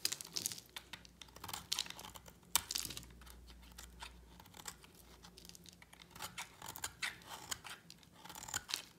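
A solid purple-and-white striped bar of dry soap, held in one hand, is shaved with a utility knife blade, sending flakes piling onto a mat beside an idle yellow soap bar. The clip is full of bright, dry scraping and crisp crackling bursts that come in irregular clusters, with quieter stretches in between.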